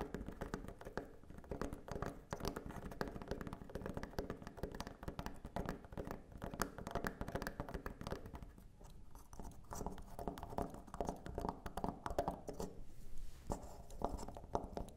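Long manicured nails and fingertips tap and scratch the textured back of a small, solid, dark carved wooden elephant figurine with light tusks, standing on a wooden table. The result is a steady stream of quick, dry, dull taps and scratches with almost no ring. The sound is warm and low-to-mid heavy, with very little brightness.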